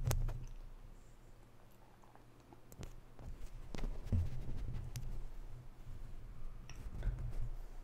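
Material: Metal mesh.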